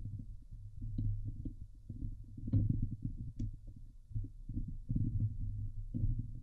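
Long nails of both hands scratch fast across the hollow steel wire-mesh dome grille of a Blue Yeti microphone. The result is a dense, continuous low rumbling scratch with a throbbing, heartbeat-like thump, mostly deep bass, broken by a few brief bright ticks.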